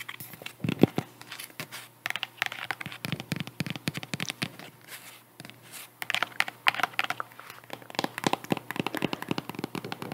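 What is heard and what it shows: Long nails tap and scratch a white strappy sandal with faux leather straps and a woven cork/jute wedge heel, held in hand close to a microphone. Dense, dry clicks and crinkly scratches run throughout the clip, each tap short and bright with almost no ring, over a faint low hum.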